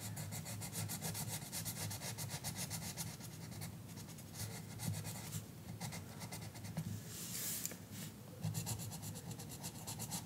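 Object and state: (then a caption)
Colored pencil on paper page. An orange colored pencil scratches and rubs across the page of an open paper coloring book lying flat on a counter, with the other hand resting flat on the book. Quick back-and-forth coloring strokes make a steady, rhythmic papery scratching with a bright, high hiss over a low, dull rumble. The strokes continue evenly throughout, briefly pausing and swelling in brightness near the end.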